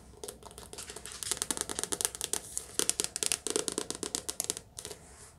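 A softcover paperback book, held sideways and upright, has its glossy card cover tapped with long nails in a fast run of crisp, bright clicking taps. The taps are sharp and high-pitched with little low end and almost no ring. They speed up and grow louder through the middle, then thin out and stop near the end.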